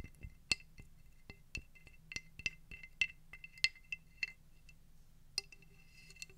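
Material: Shell.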